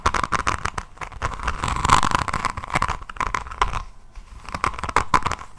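Long nails on both hands scratch across the resin rhinestone beads on the cover of a hardcover diamond-painting notebook held in front of a microphone. The result is a dense, rapid run of crunchy clicks and scratches with a steady tone near 1 kHz, swelling and easing in loudness over several seconds.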